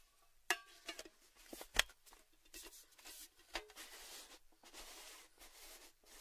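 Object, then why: Empty metal tin. Fingertips tap the rim of a tall, orange, cylindrical metal Baileys tin, open and empty, while it is handled. Sharp, bright metallic taps with brief ringing stand out over quieter scraping and rubbing sounds from the handling.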